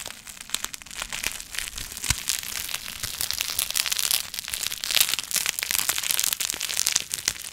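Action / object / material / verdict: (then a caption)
scrape / plastic bubble wrap sheet / plastic / none. A clear plastic sheet of air-filled bubble wrap is held and bunched by hand close to the microphone while fingertips squeeze and crinkle it. Many fast, bright crinkles and sharp little pops follow one another continuously, almost all in the high range. One louder pop stands out around two seconds in.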